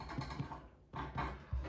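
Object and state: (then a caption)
Hollow-sounding baked bread loaf (done). Knocks on the bottom of a homemade brown bread loaf just out of the oven, after 12 minutes at 425°F and 40 minutes at 350°F. A few soft, low, hollow thuds are heard. The hollow sound shows the loaf is done.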